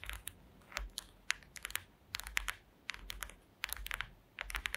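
Long green acrylic nail tips tap and scratch across the slats of a woven wooden slat mat in close-up. Quick bursts of crisp, bright clicks and scrapes centered around 2 kHz come in uneven clusters with quiet gaps. Each tap dies away almost instantly with no ring.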